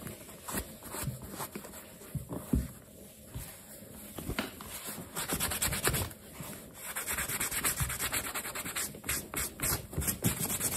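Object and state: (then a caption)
Leather sneaker being buffed with a cloth. A black leather sneaker is held by hand while a yellow cloth wrapped over the fingers rubs and buffs the side and heel leather. The result is soft, steady rubbing and scuffing with brief brighter swipes that grow busier and denser toward the end.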